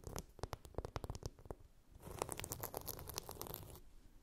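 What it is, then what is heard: Glitter-coated phone case. A hand-sized, flat blue chunky-glitter phone case is scratched across its rough glitter surface with long nails. Short, separate scratchy strokes come first, then after a brief pause a denser, continuous rasping scratch with bright, crackly grit before it fades.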